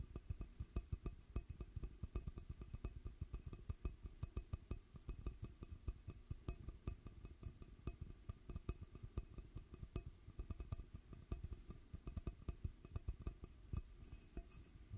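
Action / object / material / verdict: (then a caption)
tap / large glass bowl / glass / none. Fingertips and nails tap rapidly along the outer surface of a large, hollow, empty dark red glass bowl held over a microphone. The result is a steady stream of quiet, short, clicky taps with a deep, muffled low-end thump and almost no ringing.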